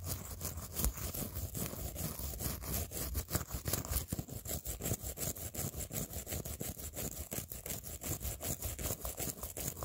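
A blue plastic toothbrush is brushed back and forth along the edge of a clear plastic phone case and across the acrylic press-on nails glued to it. The result is a steady run of quick, dry, scratchy strokes with a bright bristly hiss and a soft low rumble underneath. Each stroke stops short with almost no ring.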